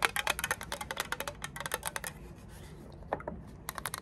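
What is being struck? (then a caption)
Small plastic lighter fluid bottle. Long acrylic nails tap and scratch a small, hollow, orange-red printed plastic Zippo lighter fluid bottle held in both hands. A quick run of sharp, bright clicks fills the first two seconds, followed by a softer, raspy scratching stretch, then a few more crisp taps at the end.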